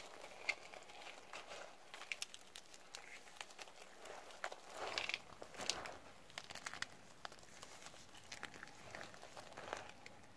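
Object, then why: Soap shavings in a plastic bowl. Blue nitrile-gloved fingers rub, press and rustle through a heap of dry, thin, flat white, black and red soap flakes and chips in a yellow plastic bowl, crushing them. A soft, steady crinkling rustle is dotted with many sharp, bright crackles and crunches, growing a little louder and denser midway before settling back.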